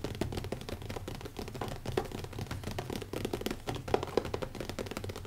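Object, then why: Leather-covered hardcover notebook. Fingertips of both hands tap quickly on the cover of a closed black leather-covered hardcover notebook with an elastic band, resting on a wooden table. The result is a rapid, continuous patter of soft, dull taps with a low, muted body around 450 Hz and very short decay, with a few slightly sharper hits standing out.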